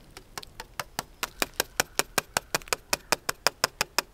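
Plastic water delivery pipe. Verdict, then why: Empty. A section of a 1-inch ram pump delivery pipe, uphill beyond the point the water has reached, is tapped about 21 times in a quick, steady rhythm. Each tap is a short, bright, hollow tick that dies away almost at once. The hollow sound marks this section as empty, unlike the full section below it.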